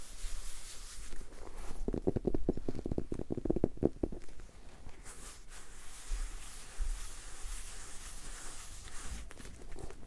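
A medium dark red leather-bound hardcover book, solid and closed, is held up while fingertips tap and rub its cover. A cluster of soft, muted, low taps with no ring comes through the first four seconds, then gives way to a quieter, steady brushing and scratching over the leather for the rest of the clip.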